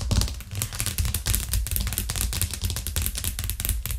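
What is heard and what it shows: Long nails tap fast and aggressively on a thin, solid white plastic cutting board with a green rim, lying flat on a cork coaster. A rapid, continuous stream of sharp, bright clicks rides over a dull, low thud from the board, and each tap dies away quickly.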